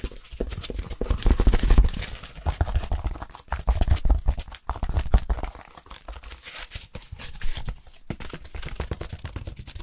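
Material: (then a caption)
Styrofoam. A white rectangular expanded polystyrene (styrofoam) packaging insert, a solid foam block with a round hole, is held and rapidly tapped and rubbed with fingertips in rubber-coated work gloves. The result is a dense stream of fast, dull, low thuds with a clip-clop-like rhythm, mixed with soft scratchy rubbing. The tapping surges louder in bursts and then eases off.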